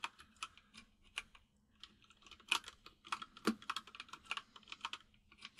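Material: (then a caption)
Plastic. Fingertips of both hands type on a full-size plastic mechanical keyboard with white and grey plastic keycaps and a hollow case. Repeated key taps come as quick, bright clacks with very short decay, scattered irregularly with brief pauses and some faster bursts.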